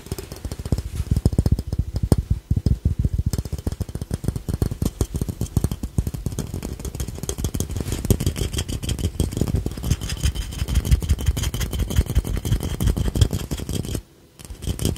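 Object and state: Ceramic piggy bank.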